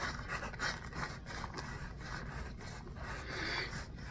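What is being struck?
Small pebbled foam basketball.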